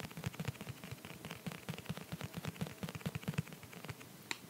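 An empty clear plastic phone case, held in the hand, is tapped and pressed with sticky fingertips and short nails. A quick, steady run of dry, short taps and clicks with a low hollow knock, each dying away almost at once, with one sharper click near the end.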